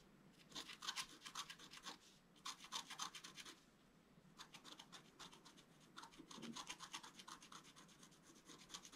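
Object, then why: Scratch-art card with black coating, wooden stylus. A wooden stylus scratches fine strokes into a flat sheet of scratch-art paper, its black coating over a colored foil layer, held flat on a table. Quick, bright, rasping strokes come in bursts separated by short pauses, each stroke crisp and dry with almost no ring. Faint low background noise sits underneath.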